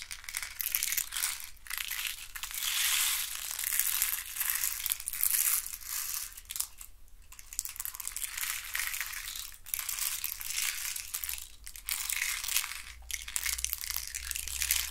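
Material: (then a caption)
Wood. Fingernails scratch along the ribbed sticks of a hand-sized, hollow hexagonal box made of thin wooden sticks. The result is a dense, continuous, bright scratching and crackling that swells and fades in uneven bursts, over a faint low hum.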